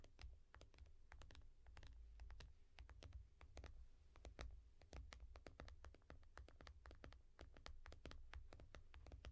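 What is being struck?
Glass tablet screen.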